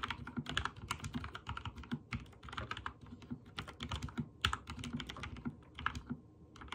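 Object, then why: Mechanical keyboard with plastic keycaps. Fingertips type rapidly on a backlit mechanical keyboard with white and teal plastic keycaps. Dense, quick clicks and clacks each have a bright top and a low thock beneath, with short pauses between the bursts.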